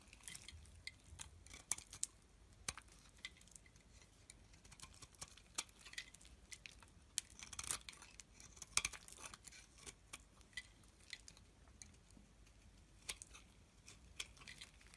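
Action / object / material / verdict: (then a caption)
scrape / solid soap bar scraped with a metal blade / soap / none. A solid beige soap bar held in the hand is scraped with a metal blade, giving a quiet run of short, dry, bright scratches and crisp clicks. The strokes come in irregular sharp bursts with almost no ring, over a faint low background.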